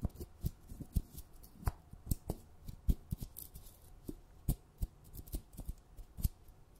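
Long red nails scratch and tap around the lid and rim of a held glass jar full of sugar. About nineteen short, dull, quiet taps land unevenly over soft scratching. Each tap is weighted low and dies away at once with no ring.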